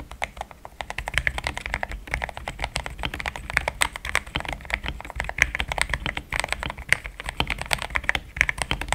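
Both hands type steadily on a compact pink-and-cream plastic mechanical keyboard with thick XDA-profile keycaps, Gateron Yellow switches and a polycarbonate plate, sitting on a desk mat. The dense run of short, dry clacks has a bright, creamy click centered around 2 kHz and a soft low thud beneath, with each keystroke dying away almost instantly.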